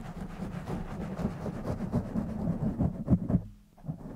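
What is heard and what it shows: Fingertips of both hands rub and scratch a black foam microphone cover, making a dense, low, rumbling scratch. The rustle is full of muffled thumps, peaking in a few sharper bursts around the three-second mark. It drops briefly to near silence, then a softer rubbing resumes.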